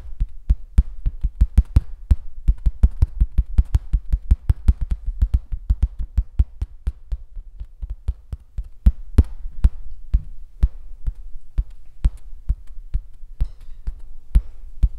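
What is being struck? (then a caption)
Stretched canvas on a wooden frame. Fingertips and nails rapidly tap and scratch across a large, taut painted canvas stretched on an easel, its hollow back turning each tap into a drum-like thump. Many short, dry, low thumps arrive in quick succession, with faint scratchy texture between them and steady booming low end throughout.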